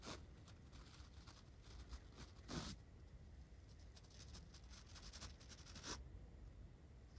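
A large flat paintbrush is brushed from the side across a dark foam microphone windscreen. The bristles make a quiet, continuous rustling and scratchy swishing with a low, muffled rumble and a bright hiss on top. Two stronger strokes stand out around 2.6 and 5.9 seconds.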